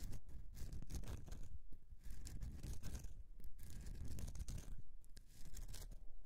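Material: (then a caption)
Soap. Fingernails scratch the carved surface of a solid bar of soap, making soft, dry, irregular scratching strokes that repeat steadily throughout. The sound is dull and low-heavy, with brief bright crackly edges on some strokes.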